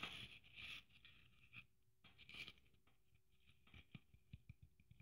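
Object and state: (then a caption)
Sequin-covered Christmas ornament. Long nails scratch and tap across a hand-sized red sequin-covered Christmas ornament with gold braid trim and a metal cap. Bright, rustling scrapes sweep over the sequins in bursts, followed by quieter, sharp clicking taps.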